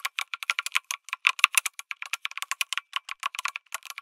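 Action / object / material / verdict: tap / mechanical keyboard with aluminium case and plastic keycaps / plastic / none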